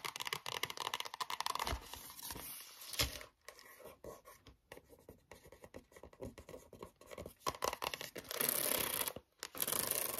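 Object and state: Cardboard-covered spiral notebook.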